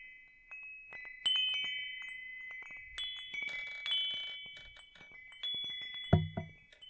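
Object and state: Metal tube wind chime.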